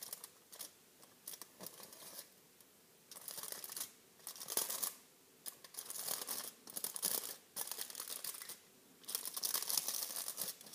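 Fingertips squeeze and crinkle a crumpled silver aluminum foil pouch held in front of the face. The result is bursts of bright, crackling crinkles with short quiet pauses between them, almost no low end, and a crisp, dry texture.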